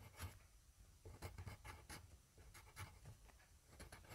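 A yellow wooden graphite pencil held in the fingertips scribbles and scratches back and forth on a flat sheet of grid paper lying on a desk, beside a small microphone that is not touched. A series of quick, dry scratching strokes comes through as bright, gritty bursts over a low, soft rumble, each stroke ending almost at once.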